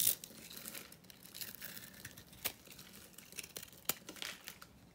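A small metal blade scrapes and cuts across the surface of a solid rectangular bar of dry, vintage grey-white soap held in the palm, crumbling off flakes. Soft, bright, crinkly scraping continues throughout, broken by a few sharper crisp cuts.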